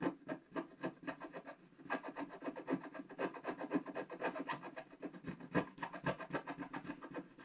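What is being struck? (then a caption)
Scratch-art paper sheet scraped with a wooden stylus. A wooden stylus scratches the coating off a flat, black-coated scratch-art paper page in dense strokes. It makes a steady run of short, dry, rasping scratches, roughly two per second and somewhat uneven in rhythm. The tone is mid-pitched and papery, with little low end.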